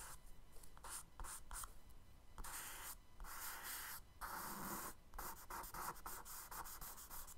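A charcoal stick is dragged in firm strokes across a kraft paper sketchbook page, scratching and rubbing out wave lines. Dry, gritty scraping comes in repeated bursts of broadband hiss with brief gaps between strokes, some long and sweeping, others quick and choppy.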